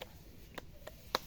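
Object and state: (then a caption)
Young coconut, good to use. A young coconut at a coconut farm is knocked on four times to check it, giving short, dry, hollow taps with a mid-pitched tone, the last knock the loudest. The coconut is judged okay, a good young coconut ready to use.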